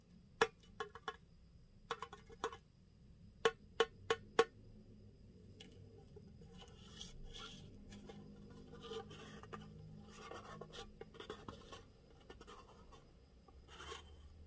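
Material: Metal.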